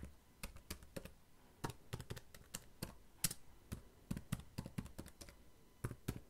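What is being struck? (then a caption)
Plastic laptop keyboard. Fingertips type steadily on the plastic keys of a black laptop keyboard, producing about two dozen short, dry clicks with no ring. The keystrokes fall at an uneven pace, each with a soft low thump under a brief bright tick, over quiet background hiss.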